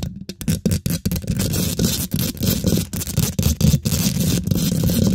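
Long, pointed pink glitter acrylic nails scratch aggressively across a hollow steel wire-mesh microphone grille. The result is a dense, fast scraping texture with a heavy low rumble and a hissy bright edge, broken by short choppy bursts and quick gaps early on before settling into near-continuous scratching.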